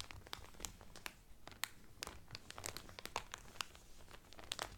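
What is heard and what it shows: Both hands press, rub and crinkle the cellophane wrapper around a cotton Carnival Cruise towel. A steady bed of soft rustling is broken by many sharp, bright crackles and snaps that stop almost instantly. The sound stays quiet throughout, with a faint low rumble underneath.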